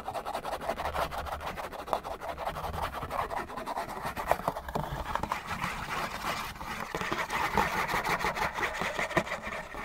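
Fingernails scratch fast across the bottom panel of a hollow, printed-cardboard Kleenex tissue box. The result is a dense, steady run of rapid, dry scratching strokes with a papery midrange rasp and a hissy, bright edge, holding even for about ten seconds.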